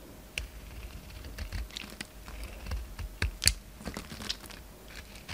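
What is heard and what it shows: A solid orange bar of soap is carved with a utility knife blade, peeling off thick shavings. Short, dry scraping and cutting ticks come in quick, uneven strokes, bright with a soft low thud beneath, over a quiet background.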